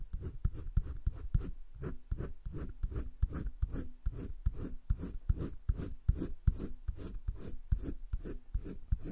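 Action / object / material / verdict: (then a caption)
scrape / colored pencil on thick drawing paper / paper / none. A hand rubs the tip of a green colored pencil in short strokes over thick cream drawing paper in a spiral-bound drawing book lying flat, shading a heart-shaped leaf. A quick, somewhat uneven run of soft, dry scratching strokes follows, about two or three per second, each muffled and low with almost no bright edge and no ring after it.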